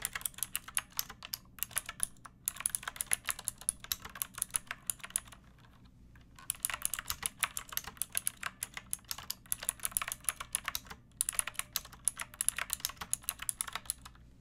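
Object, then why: Plastic mechanical keyboard. Long painted nails and fingertips type on a pink plastic mechanical keyboard with round backlit keycaps and a hollow body. The result is a rapid stream of bright, crisp clicks and clacks that end instantly, broken by short pauses near 2.5, 6 and 11 seconds, over a faint low hum.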